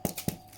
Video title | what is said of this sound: Ciabatta Sourdough!! 83% Hydration, No Kneading, You Will LOVE this BREAD 👆🍞😋 | Give it a tap on the bottom. Sounds hollow. That's done.